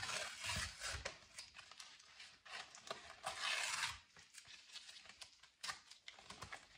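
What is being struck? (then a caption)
Thin folding-box cardboard. A flattened, empty box of thin grey folding-box cardboard, about A4 size, is held in latex-gloved fingertips and ripped apart into pieces. Two long, loud, bright rips stand out at the start and in the middle, with quieter crackling tears and small snaps of fibre between them. Each sound is dry and short, with little ring after it.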